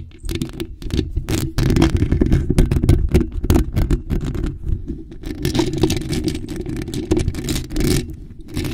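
Long nails scratch and tap rapidly on a bare, hollow, black metal mesh microphone grille. The result is a dense, heavy low-end rumble of scraping, broken by many sharp, crackling taps that flash bright and die away almost instantly.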